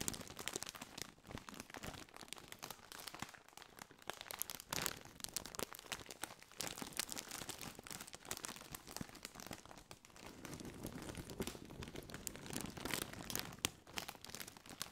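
A partly filled Doritos chip bag, made of foil-lined metallized plastic, is squeezed and crinkled with both hands. It gives a dense, continuous run of sharp, bright crackles and crunches, with a softer stretch around the middle and fuller, lower crinkling near the end.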